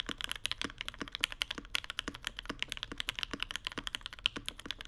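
Two hands type rapidly with their fingertips on a Mode Sonnet mechanical keyboard with Vermilion Bird switches, white plastic keycaps and an aluminum plate inside a dark case. A steady stream of short, crisp keystrokes sounds bright and clacky, with each click dying away almost instantly and very little low end.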